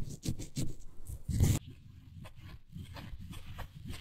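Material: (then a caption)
Faux suede. Long nails scratch and rub the fabric-covered back and arms of a small, miniature beige faux suede toy couch. The result is soft, low, brushy scraping in uneven strokes, with the loudest rasp near the middle before it settles into quieter, steady rubbing.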